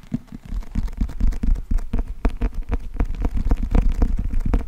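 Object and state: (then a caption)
Paperback book with glossy cardboard cover. Fingertips and nails tap and scratch the glossy cardboard cover and edges of a closed, thick, solid paperback book held in both hands. A rapid, irregular stream of soft, dull taps with very little ring sits over a low, rumbling scratch.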